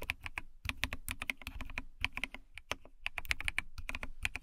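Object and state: Plastic mechanical keyboard being typed on.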